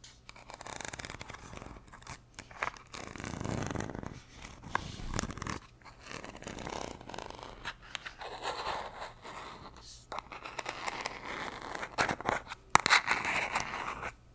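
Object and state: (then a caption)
Plastic vitamin bottle tapped and scratched. A blue plastic gummy vitamin bottle with a white screw cap, hollow and filled with gummies, is tapped and scratched with long nails on its cap and body, and may also be shaken. Quick, dry clicks and scratchy scraping come in uneven bursts, with a brief louder rattle or scrape near the end.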